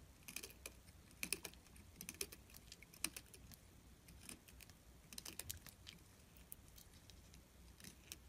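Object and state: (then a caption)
Glycerin soap bar being carved. A solid orange glycerin soap bar, held between fingers, has its edge continuously scraped and carved with a small metal tool as curled shavings build up. Quiet, bright, crisp scratches and short clicky taps come in irregular bursts over a faint low background, each one dying away almost instantly.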